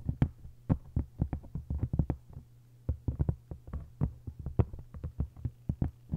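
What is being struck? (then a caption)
Hardcover book with paper dust jacket. Long nails tap rapidly and scratch across the paper jacket of a hardcover copy of *1Q84*. The quick, dry taps have low, thumping bodies with brief bright clicks and stop almost at once. A steady low hum runs underneath throughout.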